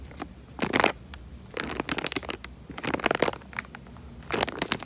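A tied, clear plastic bag full of water is squeezed and crinkled in the hand, giving four bursts of bright, crackling plastic crinkle with soft crunchy textures. Quiet stretches separate the bursts.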